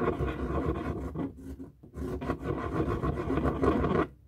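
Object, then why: Inflated latex rubber balloon. A felt-tip marker draws a tree on a hollow, light blue inflated latex balloon, stroking and scratching across the rubber skin. The result is a steady, squeaky rubbing and rasping with a resonant hollow tone, easing briefly in the middle before building again and stopping near the end.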